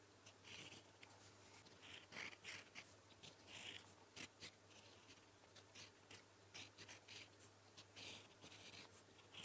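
A gold-toned metal fountain pen nib, held in the fingertips, writes Korean letters in blue ink on a flat sheet of lined writing paper resting on a solid surface. The result is a series of short, bright, dry scratching strokes with brief pauses between them, over a faint low hum.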